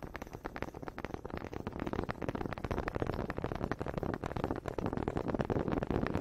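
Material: Wood.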